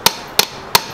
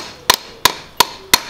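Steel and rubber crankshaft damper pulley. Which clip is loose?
The second.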